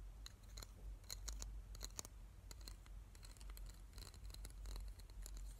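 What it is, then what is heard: Plastic hair claw clip. Fingertips and nails scratch and tap along the teeth of a small hollow black plastic claw hair clip held in the hands. The result is a quiet run of crisp, bright ticks and short scratches over a low, steady rumble.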